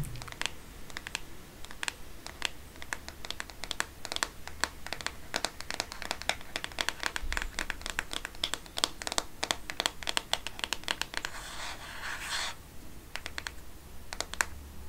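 Fingernails tap and scratch across the plastic back of a black Microsoft phone, making a steady run of quick, dry clicks and scrapes. Sharp, short taps are mixed with brief bright crinkly scratching, over a low background hum.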